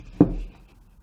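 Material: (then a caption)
Glass. A single tap on the glass screen of an iPhone 11 Pro Max gives a short, dull knock with a low, hollow, plastic-like tone that dies away almost at once. The hollow sound raised fears the phone was fake, but an identical phone sounded the same when tapped, so it was judged genuine.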